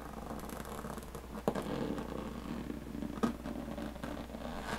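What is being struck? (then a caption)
Aluminum carry case with textured lid. Long painted fingernails scratch steadily across the textured diamond-plate lid of a closed, hollow aluminum carry case, making a soft, continuous rasping over a low, steady hum. Two sharper taps on the lid stand out, each with a brief hollow metallic knock that dies away almost at once.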